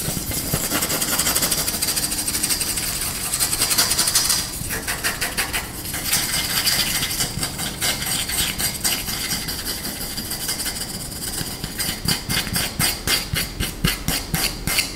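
Short nails scratch and fingertips tap the flat face and handle of a flat, solid wooden rice paddle held in the hands. Fast, dense, bright scratching fills the first seconds, then gives way to quicker dry tapping that becomes a steady run of distinct, sharp taps near the end.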